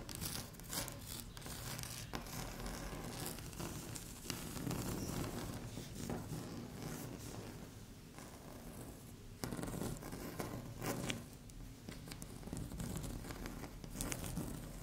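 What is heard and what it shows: Long fingernails scratch across a flat, solid, speckled beige laminate tabletop, with the hands briefly overlapping. The result is a steady run of dry scraping and crinkly scratching strokes with sharp bright edges over a low rumbling base, and a few louder strokes stand out near the middle and end.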